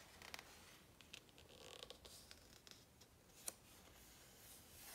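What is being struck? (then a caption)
Glossy coated paper book page. A flat hand rubs the glossy coated paper page of a large open hardcover book, and a fingertip taps and scratches along a printed image of trousers. It sounds like a soft, bright, papery hiss, broken by short, crisp ticks and scratches. The loudest, sharpest tap comes near the three-and-a-half-second mark.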